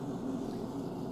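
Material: Nothing is struck.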